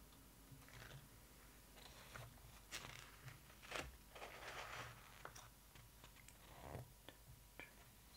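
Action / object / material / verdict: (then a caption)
scrape / glossy paper book pages / paper / none. Fingertips and long nails tap and scratch across the glossy paper pages of an open hardcover photo book, then a page is turned. The sound is a quiet series of sharp, bright clicks and dry scratching swishes over a low, steady background hum.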